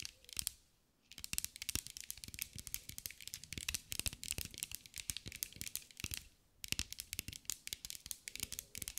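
A green mirror-glass mosaic sphere, held in the hands, is tapped and scratched with long acrylic nails. The result is a rapid stream of bright, dry clicks and scratches with almost no ring, broken by two short pauses.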